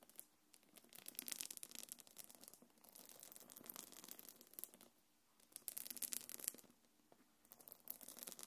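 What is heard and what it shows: Long nails scratch across the quilted body of a small, hollow, quilted black leather-look belt bag held in one hand. The result is bursts of dry, bright, crackly scratching with very little low end, broken by brief quiet pauses.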